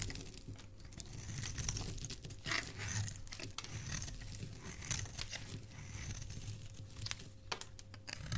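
A solid white Camay bar soap held in the hand is carved and scraped with a metal utility blade, curls of shavings falling away. Continuous crisp, crinkling scrapes with bright, papery texture run throughout, over a steady low hum and a faint thin tone.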